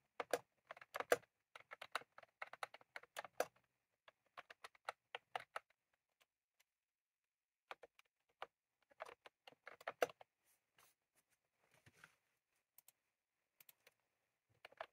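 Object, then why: Plastic mechanical keyboard with round keycaps. Fingertips type on a full-size retro-style plastic mechanical keyboard with round cream plastic keycaps and a plastic case, resting on a desk, finishing with one hand tapping keys. Quiet, crisp clicks with a midrange body and almost no low end come in quick bursts, broken by pauses around 6–7 and 11–12 seconds. Each click is short and dies away almost at once.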